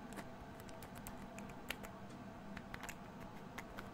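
A small amber glass essential oil bottle is tapped and scratched with fingernails near the cap. It gives quiet, sharp glassy ticks and clicks with bright, quick-decaying edges, scattered irregularly over a faint steady low hum.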